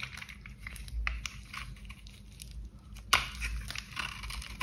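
A box cutter blade carves curls and chunks off a solid, dry, cream-coloured bar of soap held in gloved hands, using scraping cuts. Dry, crinkly scraping and crackling crunches run throughout, bright and papery, with a low hum underneath. One sharper, louder crunch stands out just past the three-second mark.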